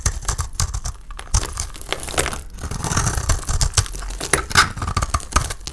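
A solid rectangular bar of dry soap painted with blue glitter paint is held in the hand and shaved and scraped with a utility knife blade, sending chunks flaking off. A dense run of dry, crisp scraping and crackling crunches comes through, with bright, brittle flakes over soft low thumps and short, dead-stopping hits.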